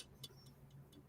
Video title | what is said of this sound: METAL MONDAYS LIVE | because it's so thin, the sound of the metal when you tap it, even though I know it's not, it it sounds like tin or something